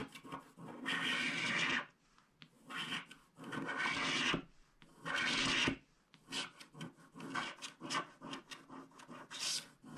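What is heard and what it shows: A wooden stylus scrapes the coating off the left strip of a flat, black-coated paper scratch card held in one hand. Long, bright, rasping strokes come first, separated by short pauses, followed by a run of quicker, choppier scratches.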